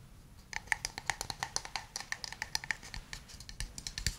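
A hand-sized, hollow wooden cup is tapped with fingertips and fingernails in a quick, uneven run of light taps. Each tap is a short, crisp click with a hollow tone around 1.8 kHz and bright upper clicks, dying away almost instantly over a faint low background.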